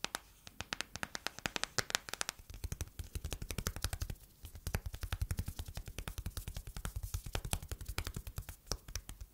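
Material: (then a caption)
Silicone. Long nails tap and scratch the back and edges of an empty matte yellow silicone phone case in a rapid, continuous stream of dry, clicky taps. Each tap is short and sharp with a bright click over a soft low thump, and faint scratching fills the gaps between them.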